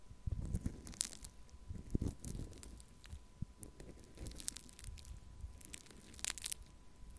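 A small plastic cup of pink foam-bead pearl clay, held in one hand, is scratched and poked with a thin wooden stick. The beads give off soft crunching and crinkling with scattered bright, crisp clicks over a low, muffled rumble of handling.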